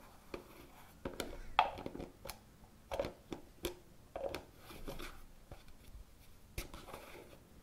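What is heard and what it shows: Fingertips and nails scratch, tap and twist the lime-green plastic screw lid on top of a medium pale green plastic cosmetic jar. Sharp, bright taps are heard among soft scratching and brief grinding twists of the lid, about thirteen separate hits in a quiet, close setting.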